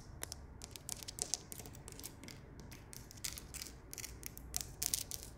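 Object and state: Rough stone wall.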